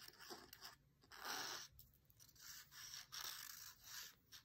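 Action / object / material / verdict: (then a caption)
scrape / printed paper book page / paper / none. A long, thin dried grass stem held in the hand is scratched back and forth across a white printed text page of an open cookbook. The result is a series of soft, hissy scraping strokes that swell and fade at an uneven pace, with the sound concentrated in the high frequencies and almost no low end.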